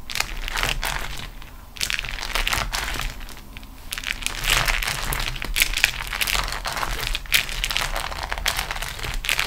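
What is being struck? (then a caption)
Beeswax-coated cotton wrap. A beeswax-coated cotton food wrap sheet is rolled and pressed with fingertips and long nails on a table. The result is dense, continuous crinkling and crushing with bright, crackly bursts and soft low thumps, rising and dipping in loudness across the clip.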